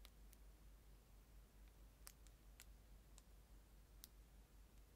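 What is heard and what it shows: A clear plastic disposable spoon, about 15 cm long and sealed in a thin clear plastic film wrapper, is held in the hand and crinkled and scratched with the fingertips, first right at the mic and then away from it. Quiet, sparse, bright crackles and clicks of the film stand out over a steady low rumble.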